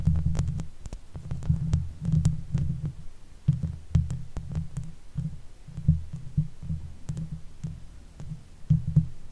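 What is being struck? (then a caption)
Metal mesh microphone grille. Long pale nails and fingertips scratch the top of the hollow metal mesh grille on a silver Blue Yeti microphone. The result is a steady run of deep, muffled, throbbing rubs and thumps with faint bright ticks from the nails. The sound comes in uneven bursts and dies out quickly after each stroke.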